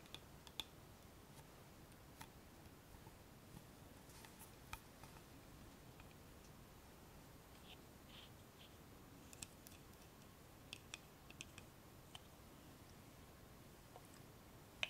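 A small, clear plastic bottle of toning lotion with a blue cap, partly full, is held in the hands and tapped with long painted nails. About fifteen sharp, bright clicks and taps sound at irregular intervals over a low, steady hiss. Each one dies away almost instantly.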